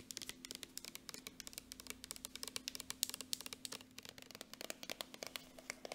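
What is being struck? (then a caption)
Soft plastic lotion tube. Long nails tap quickly on the flat end and body of a partly full, soft plastic gold Jergens lotion tube. About forty-four sharp, bright clicks with a light crinkly edge stop almost instantly, over a faint steady low hum.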